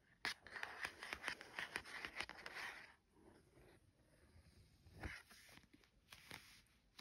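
A fingertip traces the printed map on a Lap Map cardboard tea towel package, making quick, bright scratchy strokes with light ticks for about three seconds. Then a hand rubs flat over the surface, giving a quieter, softer swishing with a few sharper taps.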